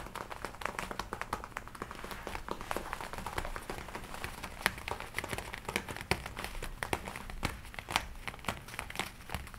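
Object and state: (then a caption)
Leather jacket being rubbed and crinkled. Hands rub the shoulders of a worn red and black leather jacket, then the sleeves are crossed and rubbed together, crinkling the leather. A dense run of short, dry crackles and snaps reaches up into bright highs over a soft, steady rustle.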